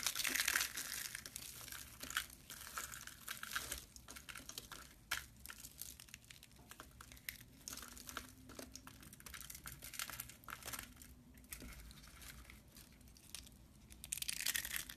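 A bare hand squeezes and crumbles a pile of white dry soap curls in its fist over a metal tray, then holds a few hollow curls on the open palm. The result is a dense, bright, dry crinkling and crackling, with louder crunchy bursts at the start and end and quieter, scattered crackles in between.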